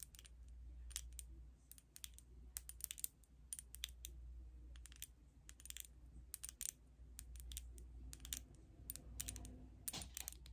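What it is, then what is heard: Glass foundation bottle tapped with nails. A filled glass foundation bottle, held sideways, is tapped with long red nails, giving quick, bright clicks with almost no ring. The taps come in irregular bursts over a low, steady hum.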